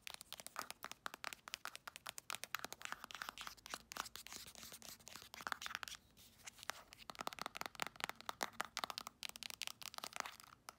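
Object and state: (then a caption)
Plastic lotion tube. Long acrylic nails rapidly tap and scratch a hand-sized, soft plastic Palmer's cocoa butter cream tube, working over its printed surface and crimped end. The result is dozens of quick, dry, bright clicks with no ring, layered over a crinkly, scratchy hiss. The sound is quiet and close, with almost no low end.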